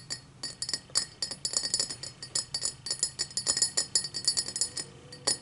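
Long matte black nails tap quickly around the rim and base of an empty, tall cut-crystal highball glass. Each tap gives a bright, glassy clink that dies away almost at once, in a fast, uneven run of clicks and chimes with almost no low end.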